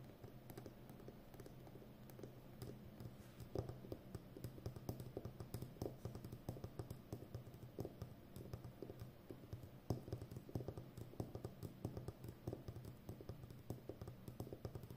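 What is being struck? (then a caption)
Roll of plastic packing tape on a cardboard core. Long nails tap and scratch around the outer rim of a full roll of brown plastic packing tape on a cardboard core, standing upright with its hollow center. A quiet, rapid run of short, dull taps with scratchy brushing in between, weighted low with a steady low hum underneath. Each tap dies away almost instantly.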